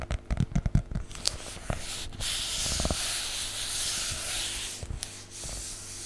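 Fingertips rub and brush across the cover and edges of a solid, medium-size teal hardcover book with a cloth-like cover. A quick run of soft, low, scuffing brushes opens the clip, then gives way to a steady, bright, hissing rub that continues to the end.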